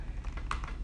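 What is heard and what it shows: Typing on the very flat, low-travel plastic keyboard of a Kaby Lake MacBook Pro laptop produces five quick, hollow plastic taps with almost no ring, set over a steady low rumble. The clicks centre around 1.2 kHz and sound unusual, unlike a typical keyboard.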